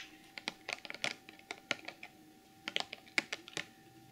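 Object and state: Clear plastic packaging box.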